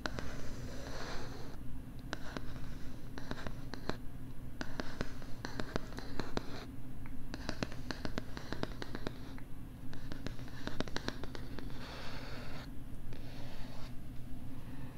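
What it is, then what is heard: Plastic LCD writing tablet. Fingers and nails scratch across a pink plastic LCD writing tablet held close to the left side of the microphone. Dense, crackly scratching comes through with sharp, bright ticks scattered throughout, over a steady low hum.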